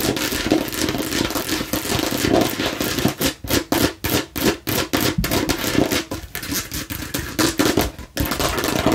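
Fingernails tap and scratch the front of a hollow plastic watermelon-slice bottle, then its rind side. A dense, continuous scratching gives way to quick bursts of hollow, clicky tapping with a low-mid plastic tone and very short ring, broken by brief pauses. Busy scratching then returns at the end.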